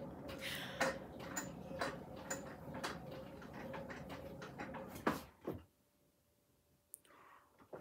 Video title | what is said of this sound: Throw A Plate Like George | so I have to tap it to make sure how thick it is